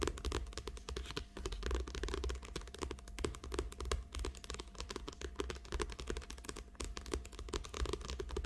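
Long acrylic nails rapidly tap and scratch the glossy cover of a small, thick paperback book lying flat. The result is a dense, continuous stream of short, dry clicks and scratchy crinkles with almost no ring, over a steady low rumble.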